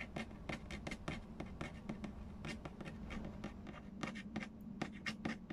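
Fingertips and nails tap and scratch the glossy lid and edge of a large, hollow cardboard Payday board game box. A rapid series of short, dry taps with bright scratchy edges plays over a steady low hum, each tap dying away almost at once.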